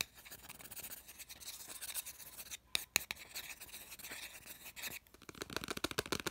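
A thin wooden stick tip scratches and rubs fast across the rough surface of a small, flat, solid heart-shaped MDF ornament with a red edge and jute string, held in the palm. The result is a dry, bright, raspy scraping in quick bursts with a few sharp ticks, nearly without low end, and it breaks off twice into short pauses.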